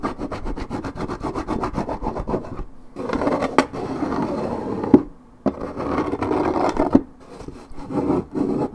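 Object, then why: Coated paperboard juice carton. Long red nails scratch fast across the scuffed strip of a hollow, coated paperboard orange juice carton. The result is a rapid, rhythmic rasp with a dull, hollow low-mid body, played in bursts separated by short pauses. A few sharp taps stand out between the passes.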